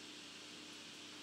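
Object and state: Nothing is struck.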